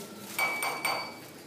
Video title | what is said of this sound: Electrostática. Ley de Coulomb. Potencial eléctrico | esta copa es de vidrio